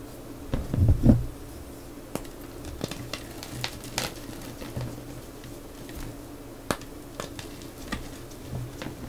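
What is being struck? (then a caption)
Molded block of gym chalk (magnesium carbonate). Fingertips press, snap and crush a large rose-shaped molded block of solid, crumbly purple gym chalk (magnesium carbonate) lying on a clear plastic tray, breaking it into pieces and powder. A louder crunching burst near the start gives way to sparse, sharp crackles and small snaps over a steady low hum.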